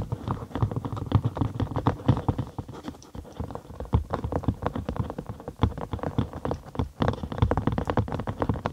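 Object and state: Cork sheet.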